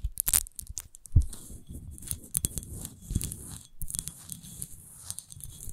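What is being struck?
Textured glass bottle.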